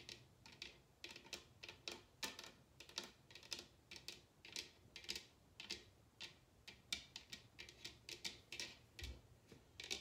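Long red nails tap and scratch across a large, hollow, upside-down bamboo bowl, making dozens of quick, bright, dry clicks at an uneven pace over soft scratching. Each tap is short and crisp, fading almost instantly, with little low body.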